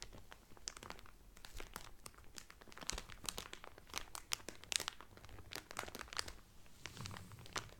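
Fingertips with medium-length painted nails press and crinkle the loose, thin clear cellophane sealing a folded blue terry Carnival towel that lies flat on a table. Quiet, continuous crackling is broken by a dense run of sharp, bright snaps and crinkles that come and go unevenly. Each snap dies away almost instantly.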